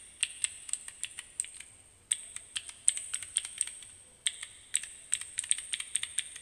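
Fingertips repeatedly press the plastic keys of a small plastic keycap fidget cube held close, making about thirty sharp, bright clicks in three quick bursts. Each click is crisp and high with almost no ring, and there is no low rumble beneath.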